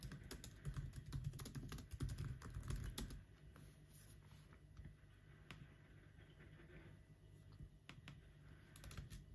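Fingertips type continuously on the black plastic keys of an aluminum laptop, producing quick, short clicks over a low thudding body, with faint music present. A dense, louder flurry of keystrokes fills the first three seconds, then the typing drops to quieter, sparser taps with occasional sharper clicks.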